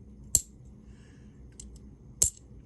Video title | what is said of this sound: 3 Simple Ways To Test For Silver Bicentennial Half Dollars | it's got a nice little ring to it